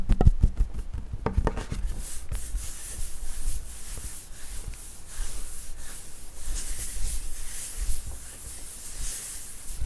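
Flat hands and fingertips tap and rub the top of a wood-grain school desk, a large, flat solid panel. A quick run of short, dull low knocks opens the clip, then it settles into a steady, soft, bright rubbing hiss that swells and eases with each stroke.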